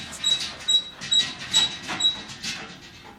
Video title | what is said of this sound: TerryL's 92 Dakota 1.12 VIDEO0008 | everything else is pretty pretty rigid